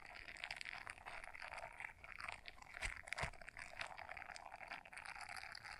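Long nails quickly scratch the bristles of a small blue silicone scrubber brush folded in half. The result is a steady, dense, crunchy scratching that sits mostly in the bright upper mids, with two sharper, louder ticks near the middle of the clip.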